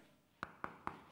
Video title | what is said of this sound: Réaliser un sol en béton ciré coulé - Tuto bricolage de Robert pour faire un béton ciré au sol | quand on tape dessus ça sonne pas le creux